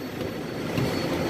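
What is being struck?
Nothing is struck.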